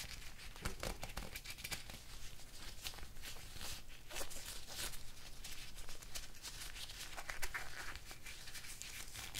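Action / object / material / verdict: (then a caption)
scrape / thin nitrile rubber gloves / nitrile rubber / none. Thin black nitrile rubber gloves worn on both hands are pulled on, stretched, snapped at the cuffs and fingers, and rubbed together, without striking anything else. Dense squeaky, crinkling rubber friction is punctuated by sharp, bright snaps throughout, over a steady low hum.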